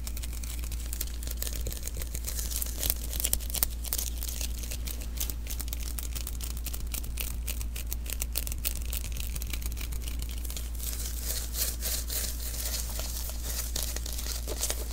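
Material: Adhesive paper.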